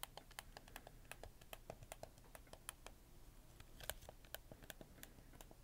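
Fingertips click the triggers, shoulder buttons and face buttons of a hollow, black hard-plastic PlayStation 4 controller in quick succession. The result is a fast, uneven run of short, dry plastic clicks with bright, snappy tops. They die away almost instantly over a faint low rumble.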